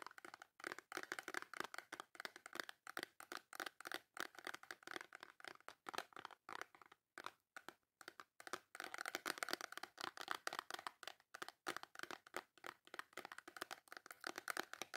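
Long nails tap and scratch quickly across the front of a small, full, white cardboard Dove soap box. The result is a dense stream of quiet, dry, papery clicks and scrapes, bright with no low end, each dying away at once. There is a brief lull near the middle before the rapid tapping resumes.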